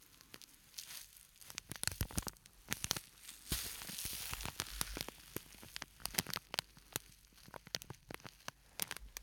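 A small, flat purple-and-white printed plastic scent sachet with a granular filling is squeezed and tipped close to the microphone. Its plastic crinkles in sharp, bright clicks over a steady sandy hiss as the contents shift inside.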